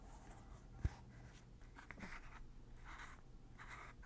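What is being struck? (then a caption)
Plastic lotion pump bottle. A large white plastic Lubriderm lotion bottle with a blue plastic pump top is held in one hand while the fingers of the other hand twist and click the pump lid. One sharp plastic click stands out, followed by softer scraping and twisting clicks over a steady low hum at a quiet level.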